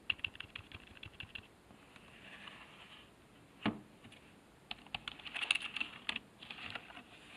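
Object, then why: Plastic computer keyboard. Fingertips press the numpad and letter keys of a black plastic computer keyboard resting on a wooden desk. Quick, bright plastic clicks come in bursts of typing, separated by quiet pauses with a soft background hiss. One louder tap stands out near the middle.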